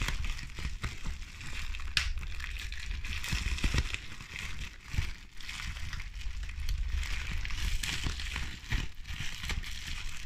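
A large sheet of clear plastic bubble wrap with air-filled bubbles is squeezed and crushed between pink-painted fingertips and nails. A steady stream of bright crackling and crinkling runs over a low rumble, broken by sharp snapping pops as bubbles burst.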